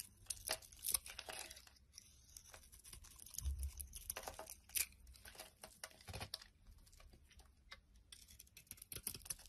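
A utility knife blade shaves and scrapes the surface of a solid, palm-sized blue bar of soap held in one hand, exposing white soap underneath and throwing off curls and powder. Quiet, dry, bright scraping and crackling comes in a rapid run of short strokes, with a few sharper crisp cuts standing out and soft low thuds between them.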